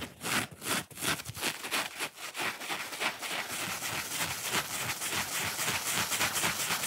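Fingernails quickly scratch the face and edge of a small, dry, watermelon-shaped foam kitchen sponge made of soft solid foam with a pale scrubbing layer along its curved edge. The result is a bright, dry, raspy scratching, first in separate rapid strokes and then blurring into a dense, continuous scrubbing hiss with little low end.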